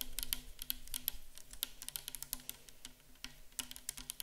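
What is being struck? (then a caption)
Plastic bottle of liquid. Long acrylic nails rapidly tap and scratch the sides of a tall, clear plastic micellar water bottle that is mostly full of pale liquid. The result is a quick, uneven patter of bright, crisp clicks with almost no ring, over a faint steady low hum.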